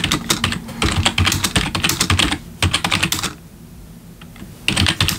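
Both hands type with their fingertips on a black plastic backlit computer keyboard, producing a fast run of bright, clicky keystrokes with a soft low thump beneath each press. The typing stops for about a second of near quiet, then resumes in another quick burst.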